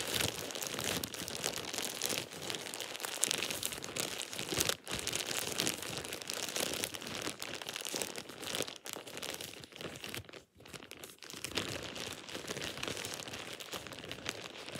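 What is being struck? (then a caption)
Thin plastic shower cap. A thin plastic shower cap is crumpled and rubbed with fingertips and nails, producing a steady, bright crinkling and crackling that sits mostly in the high range with little low end. The sound runs almost continuously, with brief near-silent gaps around 5 and 10.5 seconds.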